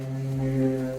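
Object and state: Nothing is struck.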